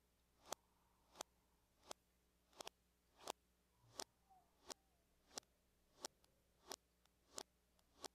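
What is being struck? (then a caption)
Aluminum laptop lid. Long fingernails tap and trace small circles on the lid of a closed silver laptop, likely aluminum with a hollow shell, lying flat on a table. Thirteen quiet, bright clicks land at a loosely regular pace, each preceded by a soft rising scratch. Each click is dry and dies away almost instantly.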